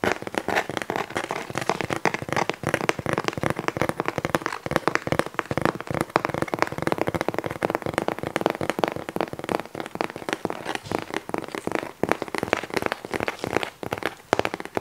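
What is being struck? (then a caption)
Corrugated cardboard box. A large, empty-looking, hollow corrugated cardboard Amazon shipping box is held up in the hands while fingertips and nails tap and scratch its flat side. The result is a steady stream of rapid, dry, crackly taps and scrapes that die away instantly, centered in the midrange with little low rumble.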